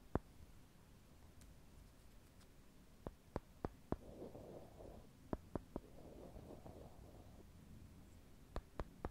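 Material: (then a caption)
Wood. Two small solid brown wooden cubes are held in the fingers and tapped against each other near the microphone, giving sharp, dry clicks with almost no ring. A single click is followed by a run of four, then three, then a final three. Soft rustling fills the gaps between the groups of clicks.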